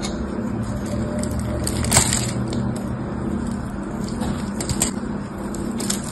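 A small black blade scrapes and cuts into the surface of a solid red bar of dried, hardened soap held in the hand, chipping off crunchy flakes. A steady gritty scraping runs throughout over a low, dense rumble, with brighter crackling snaps standing out near two seconds and again near five seconds.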